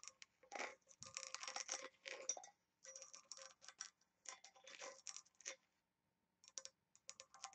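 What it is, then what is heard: Small brass box tapped and scratched with nails. Long nails tap and scratch along the rim and lid of a small oval embossed, engraved brass box held upside down, which looks hollow. The quiet, bright clicks and scrapes come in quick clustered bursts with short metallic rings, then pause briefly before a final flurry of light taps.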